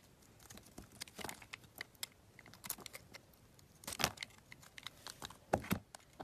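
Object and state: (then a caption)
Bar soap being carved. A metal utility knife blade carves curls and chunks off a solid pink bar of soap with a dark outer layer, held in the hand. Dry, crisp scraping and crackling strokes come in quick, irregular bursts, each with a bright, papery edge and almost no ring, between quiet pauses.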